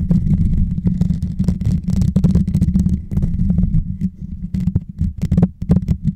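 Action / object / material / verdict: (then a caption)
scrape / metal mesh microphone grille / metal mesh / none. Fingertips and short nails scratch and tap the hollow, rounded metal mesh grille on top of a white Blue Yeti microphone. The result is a dense, boomy low rumble with a steady hum, broken by quick, crisp ticks and brushing scrapes that reach up bright.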